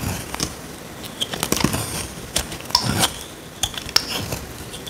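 A small metal blade scrapes a dry, solid, rectangular tan soap bar held in hand, peeling flakes off. Short, bright, crisp scrapes and crackles come in an irregular series against a quiet background, each dying away almost at once.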